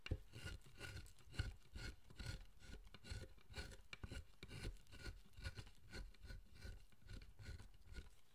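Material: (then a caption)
Wood. A wooden-handled chisel pares and scrapes the surface of a solid pale wood figure, a carved statue of the guardian Zōchōten resting on a bench. Short, dry rasping strokes repeat at an uneven pace, each with a dull low thump under a faint bright scrape that dies away at once.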